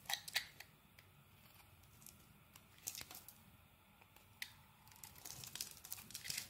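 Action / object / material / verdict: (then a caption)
scrape / bar of soap carved with a metal blade / soap / none. A metal blade scrapes and carves flakes off a solid dark green Axe soap bar, making quiet, bright, crisp scraping and shaving sounds. Sharp clicks and short cuts come through a soft hiss, growing busier near the end.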